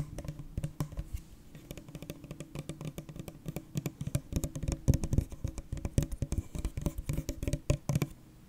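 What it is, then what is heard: Full plastic drink bottle. A full Prime plastic drink bottle is held upright while fingertips and nails tap rapidly on its ridged plastic sides. The result is a quick, irregular patter of short, dull taps with a low, hollow body around 100 Hz and sharper clicky edges. Each tap dies away almost instantly, and some later taps land harder than the rest.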